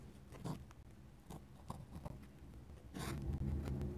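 A steel dip pen nib scratches short hatching strokes across a flat paper sketchbook page. Quick, brief scratches come in uneven bursts over a steady low rumble, and a longer, denser scratch swells louder near the end.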